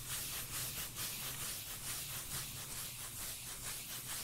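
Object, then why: Cork lid. A cork lid is scratched and rubbed in a steady back-and-forth rhythm, giving a continuous bright, sanding-like scrape. A deep low hum sits underneath, and there are no distinct taps.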